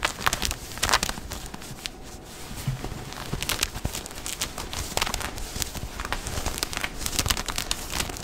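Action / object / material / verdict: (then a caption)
scrape / cotton denim jeans / denim / none. Fingertips and nails scratch and rub the thick woven cotton of light-blue denim jeans being worn, around the back waistband and the pocket area with a leather patch. Dense, dry scratching rasps come in quick, uneven bursts, bright and crinkly with a soft low rustle underneath. The strokes stay close and brief with almost no ring after each one.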